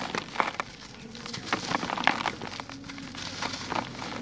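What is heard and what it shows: Bare hands crush and crumble a solid, dry grey sand-cement lump in a plastic bucket, with grains falling onto the remaining lumps and loose powder. Dry, gritty crunches and crackles come in irregular bursts, with bright, sharp snaps over a soft grainy trickle.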